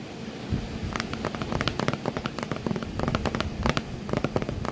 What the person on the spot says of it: ASMR Tapping on a cardboard box that my cat is sitting in